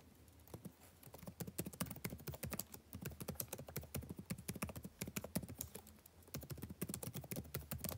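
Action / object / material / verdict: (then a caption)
tap / plastic laptop keyboard / plastic / none. Fingertips type continuously on the blue-backlit plastic keycaps of a dark laptop keyboard, making a rapid, steady stream of short, dry clicks and taps with a soft low thud under each. The tapping eases briefly around six seconds before picking back up.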